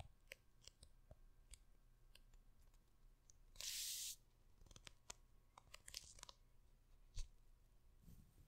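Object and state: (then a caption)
Hardcover book cover, scratched and tapped. Long red nails scratch, rub and tap the printed paper cover of a large hardcover book held close to the microphone. Scattered sharp, dry clicks and taps sit over a quiet low hum, with a loud, bright half-second scrape in the middle and faint rubbing at the end.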